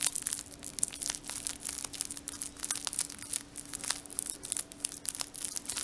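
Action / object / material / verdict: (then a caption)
scrape / paper and foil chewing-gum multipack wrapper / paper and foil / none. Fingertips crinkle and squeeze the edges of a full Brooklyn chewing-gum multipack in a crinkly paper and foil wrapper. A dense, continuous stream of sharp, bright crackles and rustles fills the clip, with a faint steady hum underneath.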